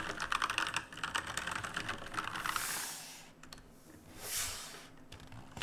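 Fingertips type continuously on the plastic keycaps of a black RGB plastic-and-metal mechanical keyboard, giving a rapid, uneven run of sharp, clicky keystrokes for about three seconds. The typing then thins into quieter, sparser taps, with two soft, bright swishing swells rising and fading over the last few seconds.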